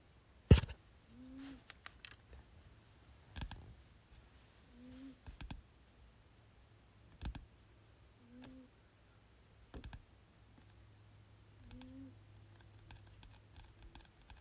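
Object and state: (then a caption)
Paperback textbook. Fingertips tap on the glossy cover of a solid paperback "General Biology 1" textbook near its edge as it rests on a bed. The result is a series of soft, dull, low-pitched taps and light clicks that die away almost instantly, in short clusters over a quiet background.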